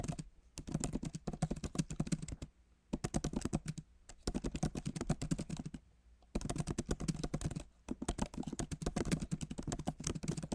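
Fingertips of both hands type fast on a solid, backlit MacBook Pro keyboard with plastic keys set in an aluminum body. Rapid, dry, short clicks with a low thump run in quick bursts, broken by brief pauses.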